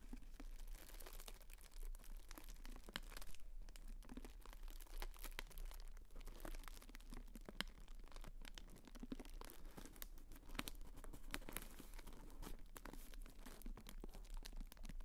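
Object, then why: Tissue paper honeycomb fan. A pink tissue-paper honeycomb fan decoration is held open close up while fingers rub and crinkle its thin paper folds. The result is a continuous dense crackle of soft tearing-like rustles and crisp crinkles, with a steady low hum underneath.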